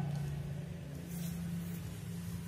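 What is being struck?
Nothing is struck.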